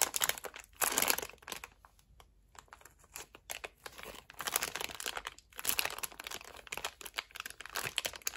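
Hands with medium-length nails grip and press a large printed clear plastic bag holding a red polyurethane-foam watermelon-slice squishy, crinkling the thin plastic over the soft foam toy. Bright, dense crinkles come in bursts, with a brief near-silent pause early on before the crinkling picks back up.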